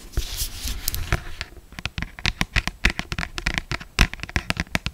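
Long black stiletto acrylic nails tap and scratch across the glossy paper cover of a closed, solid paperback novel, "Maybe Someday," held up in the air. A dry, hissy scratching opens the clip, then gives way to a quick run of sharp, clicky taps that stop at once with no ring.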